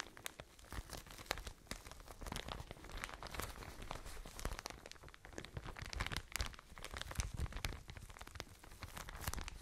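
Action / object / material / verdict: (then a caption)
scrape / soft plastic bag of cotton pads / plastic / none. A soft white and blue plastic packaging bag full of cotton pads is crinkled and tapped with long nails. The result is a steady, quiet stream of dense crinkling and crackling, with sharp bright ticks and soft muffled thumps throughout.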